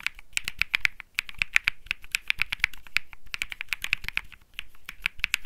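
Fingertips type continuously on a cream mechanical keyboard with plastic keycaps, making a rapid run of short, dry clicks. Each click is bright and sharp around 2.4 kHz with a faint low thock beneath, and none of them ring on. The keystrokes come at an uneven, brisk pace with barely any gap between them.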